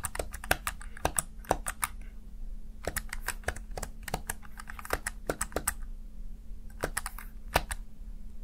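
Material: Plastic.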